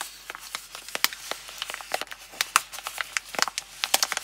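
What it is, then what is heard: Cardboard soap box. Long glossy nails tap, scratch and handle a small printed Palmolive cardboard box holding a bar of soap, held in both hands. About twenty quick, dry, bright clicks and taps ring out over a faint scratchy rustle, with no low rumble and no lingering ring.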